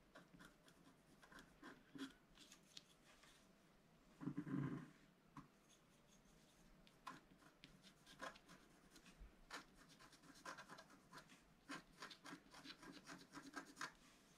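A wooden stylus scratches a stripe along the right edge of a black-coated scratch-art card lying flat on a table. Short, irregular dry scraping strokes come in quick succession, with one louder, fuller rasp about four seconds in. Bright specks of scratch noise sit above a low, soft rub.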